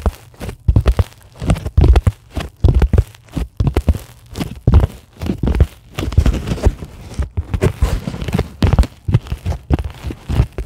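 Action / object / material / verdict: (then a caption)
scrape / polyethylene foam sheet / plastic foam / none. Long glittery acrylic nails scratch and tap a flat, solid white closed-cell polyethylene foam sheet. The result is a dense, irregular run of soft, dull thuds and crunchy, crinkling scrapes. The sound is weighted heavily toward the low end, and each hit dies away almost at once.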